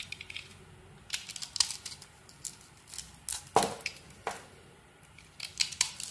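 A palm-sized solid bar of white soap with a pink glitter coating is held in one hand while a small metal knife blade carves and shaves curls off it. Irregular bright, crisp scraping and clicking cuts sound in short bursts, with a few sharper strokes standing out over a quiet background.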